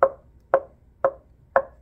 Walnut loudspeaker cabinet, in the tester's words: you can hear they're well constructed they certainly pass my knock test